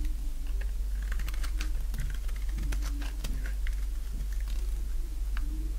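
A thinning bar of dry pink soap held in the hand is shaved with a box-cutter blade. The scraping cuts come through as a quick run of crisp, bright clicks and rasps over a steady low hum.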